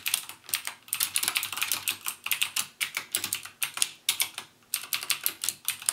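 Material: Plastic.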